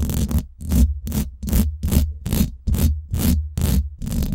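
Long black and glitter acrylic nails scratch fast on both sides of the round woven steel mesh grille of a Blue Yeti microphone with a hollow head. The scratching comes in quick, rhythmic bursts of rough, scraping noise. A heavy, booming low rumble dominates, with a thin bright hiss on top.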